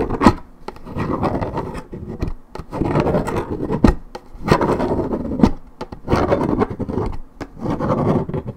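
Long nails scratch quickly across the side of a hollow Minute Maid 1.75 L coated paperboard orange juice carton, its fill unknown. Dense, rough scratching comes in uneven bursts with brief pauses, a low-to-mid papery rasp broken by a few sharp, dry clicks. There is almost no ring after each stroke.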